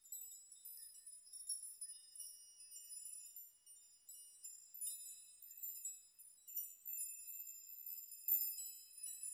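Hands brush and rock a chime of hanging metal nails so they collide, producing a continuous, quiet shimmer of high, bright tinkling clinks. The tones are thin and glassy with no low end, and short rings overlap as the nails keep swinging against each other.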